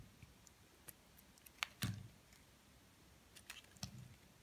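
A metal blade carves and scrapes flakes from the top of a solid white soap bar held in the hand. Quiet, crisp, bright clicks and short scraping cuts come in scattered bursts, some with a soft low thump. Each one stops almost instantly.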